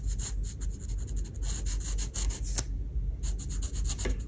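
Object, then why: Marker tip on a paper sheet. A marker tip draws small strokes and dots on the surface of a paper coloring page showing an oven. Quick, bright, scratchy rubbing bursts repeat at an uneven pace over a low background hum, with a brief lull near the three-second mark before the strokes resume.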